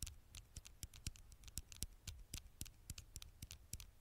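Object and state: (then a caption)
Glass smartphone screen. Long nails tap and scratch the glass screen of a black smartphone held at an angle near the microphone. The result is a quick, uneven run of sharp, dry clicks with bright high ticks and a soft low thump under each, plus faint scratchy rasps in between. Each tap dies away almost instantly.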